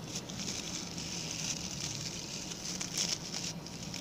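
Fingertips and nails scratch the stiff brown bristles of a small, round, ring-shaped coir (coconut fiber) brush with a pink plastic handle. The result is a steady, dense, high crackling hiss with a faint low rumble underneath, brightening briefly in a few sharper bursts.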